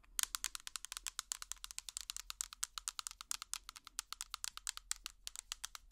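A small, hollow clear plastic tub with an orange lid is tapped rapidly with plastic finger picks. About 50 quick, dry clicks follow one another over six seconds. Each click is bright and high-pitched and stops almost instantly, with almost no low end.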